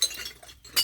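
A piece of aluminium scrap, sorted together with beer cans, is knocked three times, giving short, bright metallic clinks with a pitch near 2.9 kHz. Each clink dies away almost at once.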